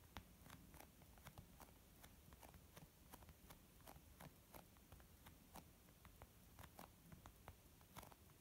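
Fingernails and fingertips slowly tap on a white textured leather zip pouch used as a makeup bag. About nineteen quiet, short, crisp taps sound one after another, each with a soft thud and a bright clicky edge that dies away almost at once. A steady low rumble sits underneath.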